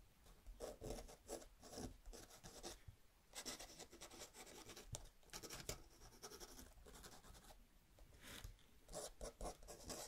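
A metal dip pen nib scratches across a small, thin paper luggage tag resting on a wooden table while writing, with fingertips holding the tag steady. Quiet, dry, bright scratching comes in short bursts and longer strokes, with brief pauses between them.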